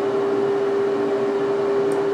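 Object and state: Nothing is struck.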